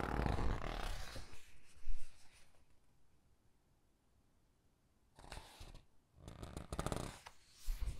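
A hand with long dark nails grips a glossy paper page of a large hardcover Titanic book and flips it. Soft crinkling rustles fill the first two seconds and fade to near silence. Two more bursts of brushing, papery swishes follow as the page turns.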